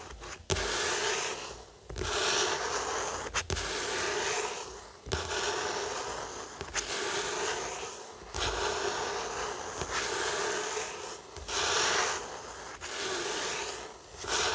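Flat fingers rub back and forth across the matte card cover of a closed paperback novel lying on a wooden table. About eleven soft, even strokes repeat at a steady pace, each a breathy, bright papery hiss with a faint low thump at the turn.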